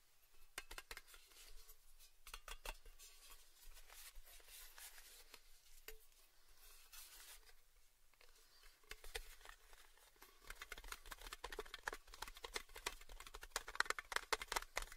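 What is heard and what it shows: The round, small, hollow orange-red printed metal lid of a Baileys tin is held in both hands and tapped and scratched with fingertips and nails. Quiet, dry, rapid clicks and bright scratchy rustles sound with very little ring. The taps grow denser and louder in the second half.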